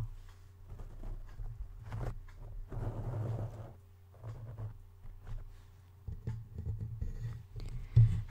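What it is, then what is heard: Foam microphone windscreen. Fingertips of both hands scratch and tap a soft, porous black foam windscreen covering the top of a Blue Yeti-style microphone over its hollow metal grille, then move down toward the mic body. The result is muffled, bassy rustling and soft thumps over a steady low hum, with a louder bump near the end.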